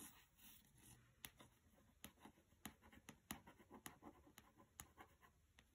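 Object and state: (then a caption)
Paperback book tapped and scratched. Fingernails tap and scratch the glossy card cover of a small, solid mass-market paperback of "Mistborn" resting on carpet. About 13 sharp, dry clicks stand out over a soft, continuous scratching hiss, each tap dying away almost instantly.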